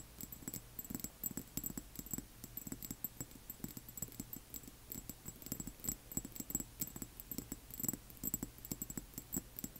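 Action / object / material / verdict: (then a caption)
tap / small glass dropper bottle / glass / none. Long manicured nails of both hands tap rapidly and steadily on the sides of a small amber glass serum bottle that appears filled with liquid, with a white plastic dropper cap and paper label, standing on black cloth. The short, dry clicks carry a low thump beneath a bright glassy tick, and each one dies away almost at once.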